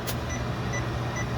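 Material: Nothing is struck.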